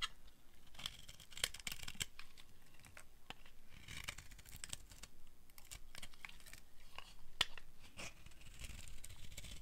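A flat blade carves and scrapes a solid orange dry soap bar held in a hand with long red nails. The sound is a quiet, dry run of scratchy shaving and crumbly crinkling, broken by sharp, bright clicks as the blade bites into the soap.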